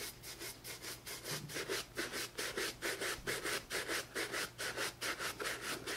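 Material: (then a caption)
Leather. A hollow, empty tan leather J.Crew penny loafer with a rubber sole, held in one hand, is brushed back and forth with a wooden-backed bristle shoe brush. It makes a steady rhythm of bright, scratchy rubbing strokes, a little over two per second, each one a short hissing swish.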